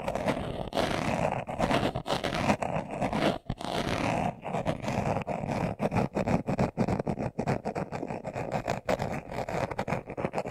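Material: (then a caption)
Leather. A hand-sized, hollow, closed, brown leather-covered glasses case, held in both hands, is scratched fast with short nails and fingertips. The result is a dense, rasping stream of quick scratches, full in the low and middle range with little high content, broken by brief pauses.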